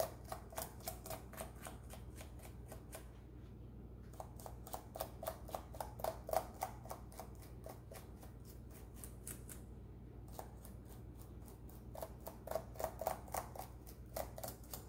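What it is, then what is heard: Plastic laptop keyboard, brushed. A small thin brush held in a rubber-gloved hand is brushed across the keys and the gaps between them on a black plastic laptop keyboard. It makes quick, quiet, crisp scratchy ticks in fast uneven bursts over a low steady hum, with two brief pauses.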